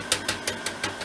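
A cooled dehydrated marshmallow is banged six times in quick succession to test whether it is hard and done, giving short, bright clicking taps with little low end. It is not quite dried out yet; they are wanted super dry so they can be added to cereal.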